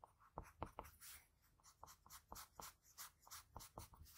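A graphite pencil draws the outline of lips on a flat sheet of white drawing paper with scratching strokes. About sixteen short, quiet, dry scrapes come in quick irregular bursts, each with a bright hiss and a soft tap near 1 kHz that dies away at once.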